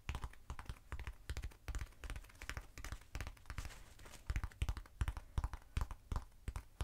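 A short black textured foam cylinder, held in the hand, is tapped with long acrylic nails. The result is quiet, dull, low thuds and light clicks in rapid, irregular bursts, each dying away instantly with no ring.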